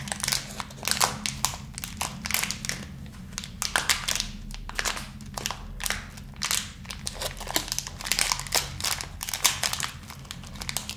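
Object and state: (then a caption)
Plastic candy bag being crinkled. A small clear plastic bag full of tiny round candy balls is held in both hands and crinkled and rubbed with the fingertips, jostling the candies inside. Dense, bright crinkling and crackling bursts come in quick irregular clusters throughout, each dying away almost at once, over a faint steady low hum.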